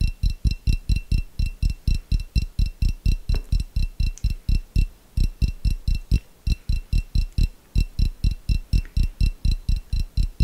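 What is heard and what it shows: A small, clear, hollow glass jar that appears empty is held in one hand and tapped and scratched with fingernails. A steady run of short, dull, low thumps sounds at roughly two per second, with a faint high ringing tone above them.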